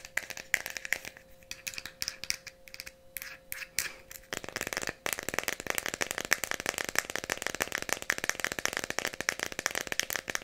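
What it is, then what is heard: Plastic pill bottle with pills. Long nails tap and scratch the red ridged cap and label of a small Tylenol plastic bottle with pills inside. Quick, sparse clicks over a faint steady tone give way after about five seconds to dense, continuous bright scratching and tapping.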